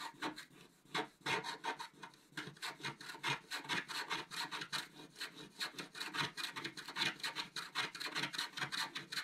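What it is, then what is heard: Scratch-art paper card being scratched. A wooden stylus scratches near the top of a flat, coated scratch-art paper card. It makes a steady run of short, dry, rasping strokes, roughly two to three per second in an uneven rhythm. The sound is bright and papery, with almost no low end and little ring after each stroke.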